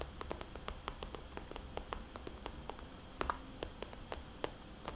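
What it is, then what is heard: Plastic cosmetics bag. Long dark-painted nails and fingertips tap a small, hollow, soft-sided cosmetics bag made of glossy red polka-dot plastic. The result is a quiet, steady run of quick, dry clicks with short, bright ticks and a faint hollow tone near 1.2 kHz. The taps sit over a low background hiss.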